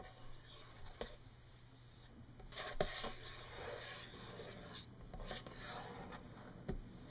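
Long fingernails of both hands scratch and tap across a solid wood-grain desk surface. Soft, raspy rubbing sweeps rise and fall over a steady low hum, broken by a few sharp, bright taps that fade quickly.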